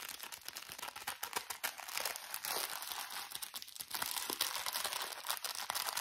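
A small, soft plastic bag of cotton pads with a purple label and drawstring is squeezed, crinkled and scratched with fingernails. The result is a dense, continuous run of bright, crisp plastic crinkles and scratchy rustles, with almost no low end.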